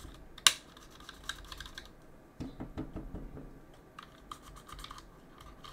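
A backlit mechanical keyboard with plastic keycaps is pressed and tapped by gloved fingertips during cleaning. A sharp bright click opens the clip, followed by bursts of quick, light key clacks with brief dry decays and quiet gaps between them.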